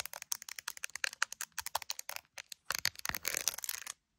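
Long acrylic nails rapidly tap the top of a clear plastic iPhone case with resin gummy bears and the phone's camera lenses, making quick, bright, dry clicks. The tapping then gives way to a denser burst of scratching before the sound stops abruptly.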